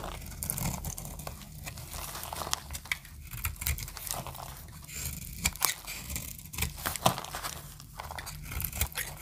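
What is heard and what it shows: A snap-off metal blade scrapes and cuts a solid green oval bar of dry soap held in the hand, and brittle flakes crumble off. The result is a steady stream of dry, crisp crackling and crunching, with bright, sharp scraping snaps over a constant low hum.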